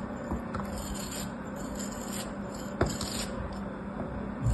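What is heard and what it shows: A small, solid, molded kinetic sand castle shape held between fingers is cut and scraped with a metal craft knife blade. A soft, steady, gritty scraping runs throughout, broken by faint light ticks, one sharper click partway through, and a louder bump at the very end.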